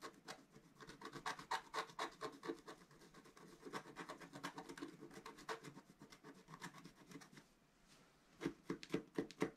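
A pointed wooden stylus scratches near the top edge of a flat, black-coated scratch-art paper sheet lying on a table, while the other hand holds the sheet flat. Quick, dry, papery scratching strokes come in a loose rhythm. They fade into a brief near-silence just before 8 seconds, then return as a few louder, sharper strokes.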